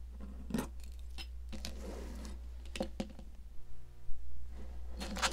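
A metal palette knife scrapes and carves a solid pink popsicle-shaped sidewalk chalk, scattering crumbs. Short, dry, bright scratches and crisp clicks come and go over a steady low hum.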